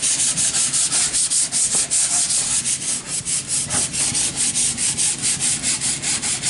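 A sheet of sandpaper held in the hand is rubbed up and down along a long, solid, unfinished, stud-like wooden board held upright. Quick, steady back-and-forth strokes, about two or three per second, make a bright, gritty hiss with little low end, and each stroke swells and fades into the next.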